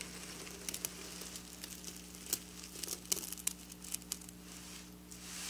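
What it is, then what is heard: Sequin fabric being scratched. Long black nails scratch over flat silver sequin fabric lying on a table. A bright, crinkly scratching rustle is broken by scattered sharp ticks and clicks, all over a steady low hum.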